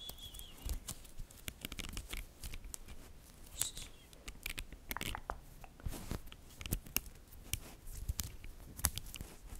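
Fingertips and nails pull apart and snap together a chain of small, solid, green-coated neodymium magnetic balls from a glow-in-the-dark magnetic cube. Quiet, sharp, bright clicks and snaps come in quick irregular bursts over a soft scraping rustle.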